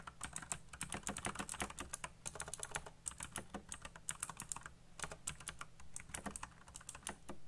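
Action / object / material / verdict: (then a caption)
tap / plastic mechanical keyboard / plastic / none. Fingertips type fast across a full-size black plastic mechanical keyboard with RGB backlit keycaps and hollow key switches. A rapid stream of sharp, bright clicky presses comes in uneven bursts with brief pauses, each click dying out almost instantly, over a faint low hum.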